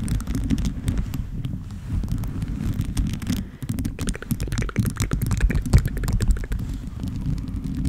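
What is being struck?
Small plastic charms on a microphone cover.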